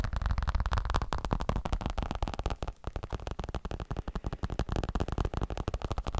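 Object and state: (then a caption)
Elbow support. A fabric elbow support is tapped rapidly with roughly thirty quick, dull taps over about six seconds. The soft, muffled hits are mostly low in pitch, with almost no brightness, and each dies away almost instantly.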